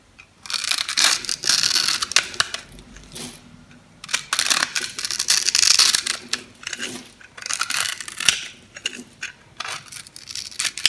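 A metal blade scrapes and cuts crunchy grid cubes into a dry, solid pink bar soap with a painted dark outer layer, held in the hand. Repeated bursts of bright, crisp scratching and crumbling crackle come in short pauses, with almost no low end.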